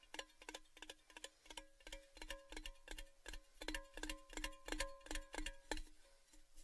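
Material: Tin-plated steel.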